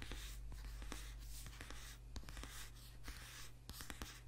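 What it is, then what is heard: Paperback book being tapped and scratched. Fingernails scratch the glossy cover of a thick, solid paperback book with a white page block, then the book is held upright while its page edges are tapped and scratched. Quiet, bright, papery scratching is broken by short, dry taps that fade almost at once. A steady low hum runs underneath throughout.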